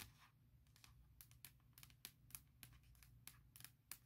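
Long nails tap and scratch around the Apple logo on the lid of a closed, large MacBook Pro with a hollow aluminum shell, heard up close. A quick, uneven run of sharp, bright clicks stops almost instantly, with soft scratchy rustle between them. A steady low hum sits underneath throughout.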